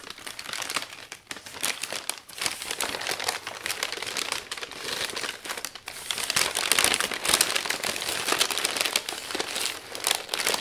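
Layered brown kraft packing paper wrapped around a frame is folded at the edges and smoothed with fingertips and palm. The result is a continuous dense, bright crinkling with rapid crisp crackles and no low rumble, growing louder in the second half.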